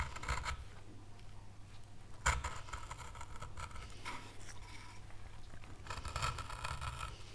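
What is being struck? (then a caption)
Wooden carving board scraped by a gouge. A gouge held in gloved hands scrapes chips from an oak leaf outline carved into a small, solid, pale wood carving board. Bursts of bright, dry scraping come and go over a steady low hum, with one sharper, louder scrape partway through.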